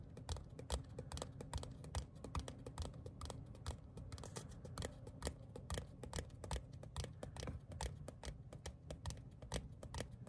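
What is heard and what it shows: A small, thin printed paper or cardstock ticket card, a solid flat sheet held in both hands, is tapped and scratched with fingertips and short nails. The result is a quiet, irregular stream of short, dry, bright clicks and scratchy strokes that die away almost instantly, over a soft low rumble.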